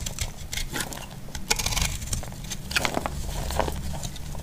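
A metal blade cuts and scrapes a solid, dry heart-shaped soap, producing a rapid series of crisp, bright crackles and dry scratchy clicks. The short bursts cluster over a steady low background rumble and die away almost instantly.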